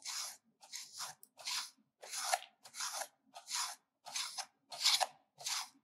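A solid, ridged bar of pink soap held in the hand is scraped against a stainless-steel grater full of shavings. Nine separate grating strokes produce dry, bright, crunchy rasps with short silences between them.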